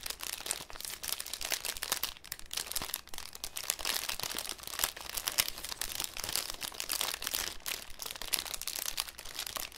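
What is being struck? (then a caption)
Thin cellophane sheet. A thin, clear cellophane sheet held in both hands is scrunched and crinkled with the fingers. The result is a continuous, dense stream of sharp, bright crackles that sit mostly in the high range, with little low-end body.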